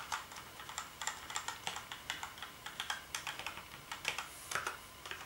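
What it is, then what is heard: Plastic keyboard being typed on. Fingertips type on the keys of a black plastic gaming keyboard, making about 25 quick, light clacks in an uneven rhythm. Each keystroke is a short, bright plastic tap that dies away almost at once, with very little low end.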